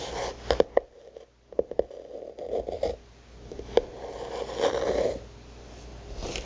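Long nails tap and scratch the printed paper or card cover and the page edges of a thick notebook whose cover shows a goddess illustration. Sharp, quick taps cut through soft, papery scratching centered in the midrange, with brief quiet gaps between bursts.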